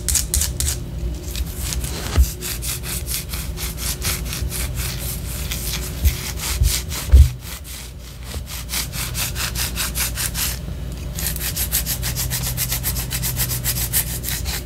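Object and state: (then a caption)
Wax pillar candle being scratched. Long orange nails scratch up and down the side of a white solid wax pillar candle. The result is a steady run of quick, rhythmic, bright raspy strokes over a low rumble. A few louder bumps stand out partway through, followed by a brief quieter stretch before the scratching picks up again.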